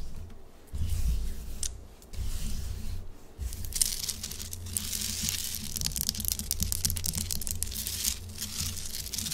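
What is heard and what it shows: Long acrylic nails quickly scratch and tap a large, solid pink Himalayan salt chunk, producing dense, dry, bright scraping with crisp little ticks over a low rumbling undertone. The sound comes in rough bursts that swell and settle into a steady, fast, abrasive texture.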